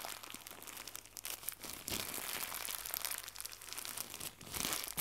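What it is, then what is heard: Crinkly plastic gift bow. Fingertips with red nails stretch and crumple a small white crinkly plastic gift bow. The result is a steady stream of dense, bright crinkling and crackling that swells louder near the two-second mark and again at the end.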